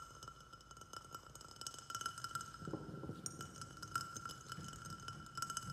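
Fingertips and nails tap quickly on both sides of a small white glazed ceramic flower pot, which sits on a saucer and is filled with soil and a snake plant. The rapid, uneven tapping gives light, glassy clinks over a soft, low patter, with a steady bright ring near 1.4 kHz under the taps.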